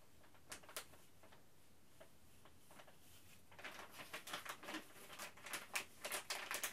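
A thin, flexible printed plastic Ziploc Zip'n Steam retail bag is crinkled and flexed in both hands and tapped with the fingertips. A few soft, scattered crisp ticks give way after about three and a half seconds to denser, brighter crackling bursts that grow louder toward the end.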